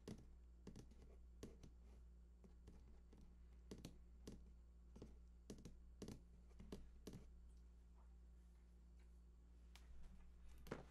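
Fingertips tap and scratch the side panels of a large, hollow cardboard PS4 console box held at both sides. The result is a quiet series of short, dull taps with soft scratching between them, over a steady low hum.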